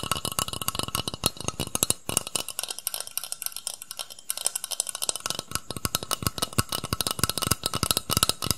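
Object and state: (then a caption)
Metal shaving foam can. A hollow metal aerosol shaving foam can, about hand length, black with a green plastic cap, is held upright and tapped rapidly with fingertips and nails. Quick, dry, bright clicks and hollow low knocks follow one another with almost no ring. The low thump drops out for a stretch around the middle, where the taps turn thinner and lighter before the fuller tapping returns.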